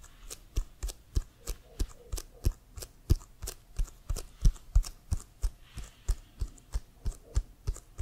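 Fingertips and nails tap on the surface of an inflated, hollow leather American football bearing the CFL logo. A steady run of short, dull thumps carries a deep hollow body, while the nails add brief bright clicks on top of each hit. The taps die away almost instantly over a faint low hum.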